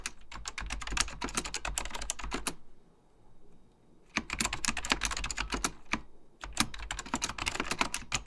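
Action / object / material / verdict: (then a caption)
tap / plastic mechanical computer keyboard / plastic / none. Fingertips type continuously on a beige plastic full-size Apple Extended Keyboard II, its hollow plastic keycaps over mechanical switches giving sharp, bright clacks with a low thump. There are three bursts of rapid keystrokes, separated by a pause of near silence around the third second and a brief gap near the sixth second.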